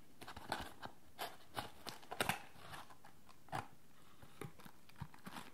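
A yellow Lipton "Big Pack" tea box made of printed cardboard, hollow and partly empty with its lid open, is held in one hand and tapped and handled with the fingertips of the other hand. The result is a quiet, irregular series of dry, crisp taps and light crinkly scrapes that die away quickly, with soft hollow knocks under brighter papery clicks.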